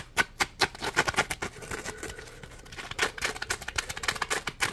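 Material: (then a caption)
Polymer foam. A small, solid, yellow Scrub Daddy Puppy polymer foam scrub sponge is held in both hands while fingertips rub and scratch its ridged, textured surface. The result is a string of quick, dry, rasping scratches with bright, airy texture and almost no low end, easing into a softer continuous rub midway before the sharp scratches return.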